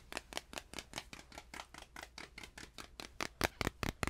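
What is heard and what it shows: A tiny stretched canvas is tapped repeatedly, up close and farther away, giving about twenty short, dry, papery taps with bright high content and almost no ring. The taps come at an uneven, quick pace, quieter through most of the clip and noticeably louder in the last few, over a faint low hum.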